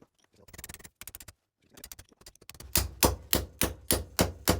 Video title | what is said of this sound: Classic Mini Gearbox - Mainshaft Built up | You can hear that's down, the sound has changed.